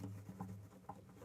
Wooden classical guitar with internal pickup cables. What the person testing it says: no leads rumbling around that means we've secured them ideally